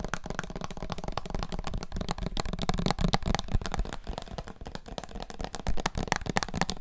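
A small clear plastic syrup bottle with a paper label and a red plastic flip-top cap, holding dark liquid, is held in both hands and tapped all over with fingertips and nails. The result is rapid, irregular tapping at about four taps per second: short, dry clicks with a dull, hollow low body and very little ring.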